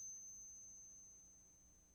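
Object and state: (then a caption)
Genuine silver quarter. A 1964 silver quarter is flicked for a ping test and gives a single clear, high, bell-like ring that sustains and fades slowly over about two seconds. The test confirms the coin is real silver, matching 2 out of 2.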